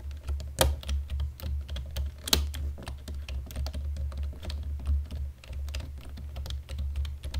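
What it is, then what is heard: Plastic computer keyboard. A black plastic computer keyboard is typed lightly with the fingertips, the hands resting on the keys in dim light. A steady run of soft, bright key clicks plays over a constant low hum, with two sharper clacks standing out early in the clip.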